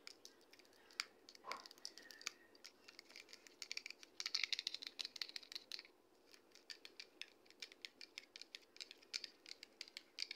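Long red acrylic nails tap a medium pale green plastic shampoo bottle (L'Oréal Pro Expert Volumetry), held upright, hollow and likely partly full. The result is dozens of quick, light, bright clicks with almost no ring. A denser, busier flurry of tapping comes in the middle of the clip.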